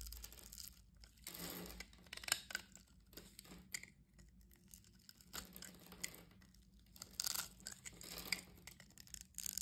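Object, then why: Bar of soap scraped by a metal blade. A metal blade scrapes small cubes off a solid blue gridded soap bar held in the hand. It makes bright, dry scraping and crunching bursts with crisp crackles, separated by quiet pauses. The sound stays soft and close, with little low end.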